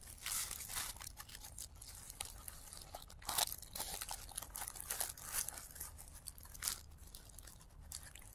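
A hand-sized pom-pom flower made of thin, light, airy layers of blue tissue paper is squeezed and crinkled at the petals by the fingertips of both hands, with the sound played in reverse. Dense, bright crinkling and crunching rustles run throughout over a faint low hum, with louder bursts around 3.4, 5 and 6.7 seconds.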